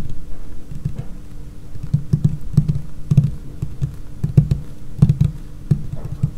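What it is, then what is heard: Laminate tabletop tapped with fingernails. Long painted nails tap fast on a large, solid, dark laminated tabletop. The result is a quick patter of short, dull, low knocks that die away almost at once, with an occasional brighter click on top.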